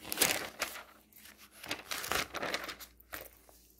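Fingers quickly riffle and flip through many thin pages of a glossy paper home goods catalog. The result is a bright, fluttering rustle of crinkling paper in short overlapping bursts, with brief quiet gaps between flips.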